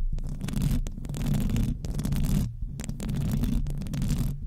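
Very long decorated acrylic nails on both hands scratch and rub across the rounded, hollow metal mesh grille of a large silver USB condenser microphone. The result is a dense, boomy, low rumbling scrape with faint bright crackles, running in steady bursts separated by a few brief, quieter gaps.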